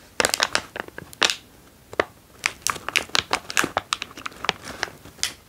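A foil-lined plastic almond snack bag is held, turned and crinkled with fingers and thumbs. Sharp, bright crackling bursts come in irregular clusters, broken by brief quiet gaps. The sound is crisp and papery, with almost no low end.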